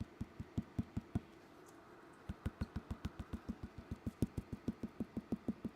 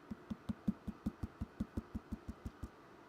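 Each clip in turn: First: clay bowl upper wall, thicker. Second: clay bowl with thinner bottom.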